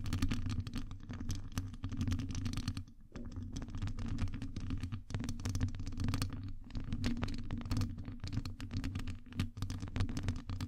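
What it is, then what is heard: Metal microphone mesh grille. Long nails scratch and tap rapidly across a hollow metal wire-mesh microphone grille. A dense stream of sharp, bright clicks and scrapes rides over a heavy, steady low rumble near 110 Hz, with a brief quieter pause around the three-second mark before the scratching resumes.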